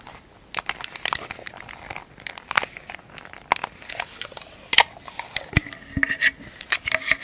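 A small, hollow, round silver metal tin lid is held in the hands and tapped and scratched on its top and rim with long acrylic nails. Quick, sharp, bright clicks and taps mix with crinkly scratching bursts, and some strikes leave a brief metallic ring around 2 kHz.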